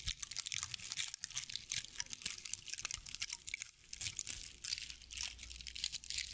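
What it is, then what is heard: Straw owl figurine scratched. A hand-sized decorative owl figurine made of dry straw or sisal-like fibers is held in both hands while long nails scratch and rub its fibrous body. The result is a continuous run of dense, crunchy crinkles and scratchy rustles, bright and concentrated in the high range with very little low end.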